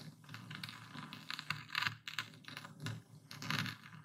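A dark speckled stone pestle, held in the fist, pounds and grinds a full wooden bowl of coarse white epsom salt. Dense, gritty crunches and scratchy grinding come in short bursts, with bright crackle over a low thudding body. The crystals are crushed steadily throughout.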